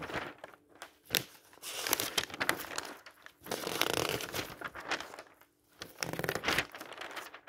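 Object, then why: Thin printed paper flyer. A hand grips a thin printed paper store flyer, dark blue with yellow price circles, lying on a table and flips its pages over. Bursts of bright, papery rustling and crinkling come and go, separated by short near-silent pauses.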